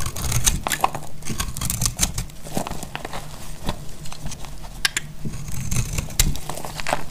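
A metal utility blade cuts into the face of a solid, round, purple-and-white striped dried soap bar held in the hand, shaving off crunchy flakes. Quick, dry, crackling scrapes and bright clicks repeat throughout, with short ticks that die away almost instantly over a low background rumble.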